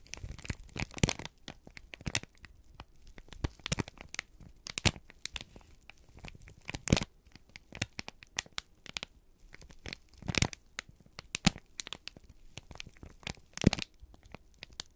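A folded, crinkled sheet of brown kraft paper is held in both hands and squeezed and crumpled with the fingertips. Dense, dry crackles and crinkles come in irregular bursts across the clip, with sharp broadband snaps that reach bright highs over a soft low rustle.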